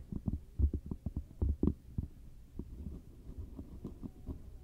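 Long matte dark nails tap and scratch across the surface of a round, flat, solid cork coaster held close. The sound is a run of soft, dull, low thumps with brief scratchy rustles between them, with no ring and almost no bright content. The tapping is busiest early on and trails into quieter scratching toward the end.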